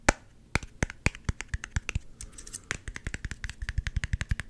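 Fingernails tap rapidly on the cap and body of a small, hollow, clear plastic Gatorade squeeze bottle with an orange G-logo cap. Each tap is a short, dry click with a low hollow thump beneath a bright edge. The taps come as a run of separate strikes with a brief softer scratchy pause midway, then settle into a steadier, quicker rhythm.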